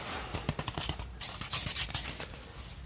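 Fingertips scratch and rub the face of a patterned, printed cardboard 12-inch LP jacket, flat and hollow, held in both hands. A series of quick, dry, bright scratching strokes rises and falls over a soft hiss, each stroke stopping short with almost no ring.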